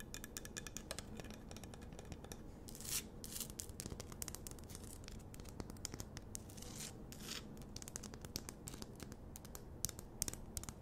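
A large, solid pink Himalayan rock-salt lamp on a wooden base is held in both hands and scratched with long nails. The result is a quiet, continuous run of dry, bright scratching and rapid clicky taps, with occasional louder rasping strokes over a low steady hum.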